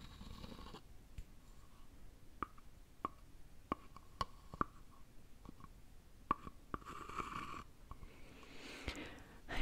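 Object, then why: Small birch-bark box tapped with a wooden stick. A small, hollow, empty cylindrical open birch-bark box is scraped and tapped with a wooden stick. Sharp, dry taps with a brief ring around 1.1 kHz are spaced through the clip, with soft scraping passages at the start and near the end over a quiet low background.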